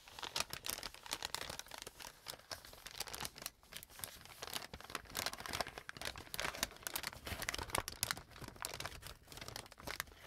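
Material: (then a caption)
Paper. An empty brown kraft paper bag is opened and expanded by hand, giving continuous close crinkling and rustling for about ten seconds. Dense bursts of bright, papery crackle come in quick, uneven flurries with little low end.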